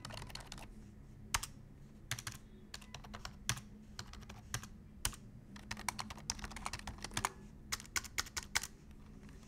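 Fingertips type on a black plastic full-size computer keyboard, pressing the keys including the wide ones. Quick, bright, clicky keystrokes come in uneven bursts and stop instantly, over a faint steady low hum.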